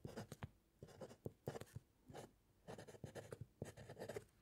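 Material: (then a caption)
Paper. A metal fountain pen nib scratches across a white paper sheet resting on a solid wooden clipboard during steady handwriting. Quiet bursts of short, scratchy strokes come in quick clusters separated by brief pauses, with a dull, low-weighted texture from the board beneath.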